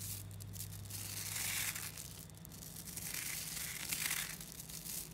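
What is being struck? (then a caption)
Clump of small coated neodymium magnet balls. A clump of about 11,000 small coated 3mm neodymium magnetic balls is held in both hands while the thumbs press and knead it. The balls make a dense, bright crunching and clicking that rises and falls in slow swells, over a faint low hum.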